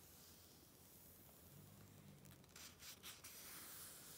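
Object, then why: Glossy coated-paper magazine page. A flat hand with long red nails slides and rubs over the coated paper page of an open glossy Vogue magazine, the "Activism Now" issue, then lifts the page to turn it. A quiet, steady bright hiss of rubbing builds into louder, crisp rustling bursts as the page is lifted and turned.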